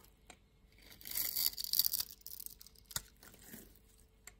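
A solid orange-and-white striped bar of soap held in the palm is scraped and shaved with a yellow-handled utility knife blade. A quiet, bright, crisp rasping swells over about a second as the blade shaves the soap, with soft ticks and light taps before and after.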